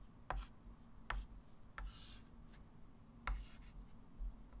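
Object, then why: Chalk stick on a framed chalkboard. A white chalk stick writes math digits on a small, flat, framed blackboard lying on a table. The chalk tip makes short, sharp taps and brief scratchy strokes, separated by quiet pauses over a steady low hum.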